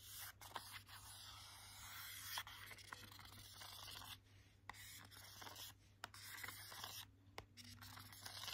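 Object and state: Hardcover board book.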